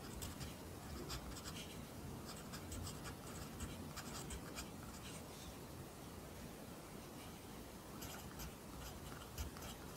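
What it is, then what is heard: Paper notebook, pencil writing. A pencil writes Korean handwriting on an open lined paper notebook, its graphite scratching softly across the page. Bright, brief scratchy strokes come in irregular clusters over a quiet, steady low background, with a short pause in the middle before the strokes resume.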